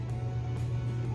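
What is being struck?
Nothing is struck.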